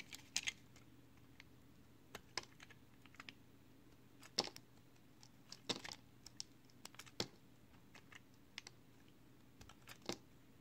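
A box cutter blade shaves the top edge of a small, solid, pale green soap square held in the fingers. Short, crisp, bright scraping ticks come in scattered bursts over a faint, steady low hum, each one dying almost instantly as flakes are shaved off.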